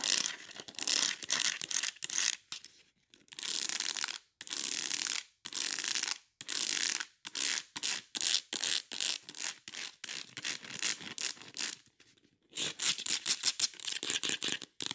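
Long nails scratch rapidly across the ridges of a ribbed beige plastic plant pot holding an aloe. The result is a series of bright, raspy, ratchet-like bursts separated by short silences, with no low-end body and almost no ring after each stroke.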